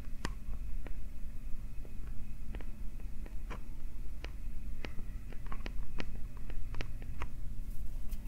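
Fingertips and nails scratch and tap directly on the small, hollow metal capsule guards of a TASCAM recorder. Sharp, bright clicks and ticks are scattered irregularly over a steady low rumble and hum, and each tap dies away almost instantly.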